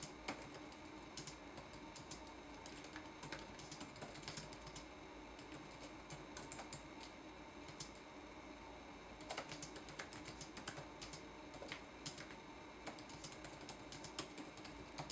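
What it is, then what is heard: Plastic laptop keyboard typing. Fingertips type on a red-backlit laptop keyboard with plastic keys, producing a steady stream of soft, quick clicks over a quiet, constant background hiss. The typing runs throughout, with brief pauses, and bursts of sharper, brighter taps, especially in the second half.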